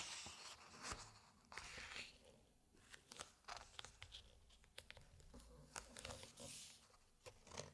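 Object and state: Large hardcover book, glossy pages being turned.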